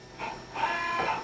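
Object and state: Nothing is struck.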